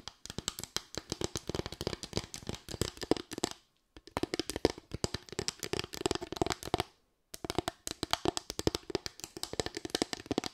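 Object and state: Bamboo slatted board.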